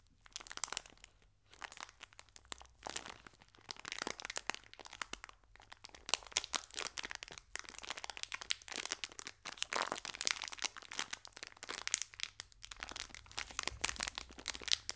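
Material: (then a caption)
Metal foil. A small green metallic foil biscuit pack is squeezed and worked between fingers and a thumb. It makes dense, bright crinkling and crackling with sharp little snaps, pausing briefly now and then. The sound is quiet overall and almost all high-pitched, with no low body.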